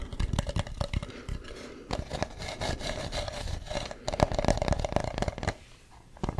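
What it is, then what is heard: Carved wooden mask. Fingernails rub and scratch along the ridges of a hollow carved wooden mask with a ribbed, painted surface, close to the mic. Dense, rapid scraping clicks run over a low rumble with a faint steady mid tone. They briefly fade near the end before a last few scratches.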